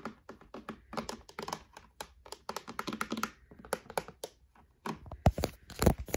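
Fingertips and short painted nails tap and scratch along the fronts of a grey plastic storage drawer unit on a white frame with metal knobs and hollow drawers. The result is a quick, irregular run of short, dull taps with brief scratchy swipes, ending in a few louder knocks.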